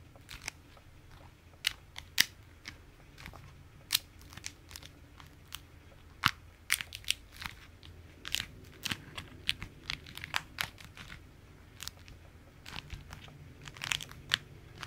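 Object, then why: Beeswax-coated fabric food wrap. A beeswax-coated fabric food wrap, crumpled into a stiff ball and held in the hands, is squeezed and scratched with the fingers. It gives off many sharp, bright crackles and crinkles that stop instantly, scattered irregularly over a faint low hum.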